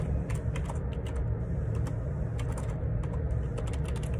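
Fingertips type on the plastic keycaps of a black Perixx Periboard 612 wireless Bluetooth ergonomic split keyboard with a hollow plastic housing, lying on a grey laminate desk. Quick, light, bright key clicks patter over a steady low rumble that dominates the sound, possibly faint background vehicle noise.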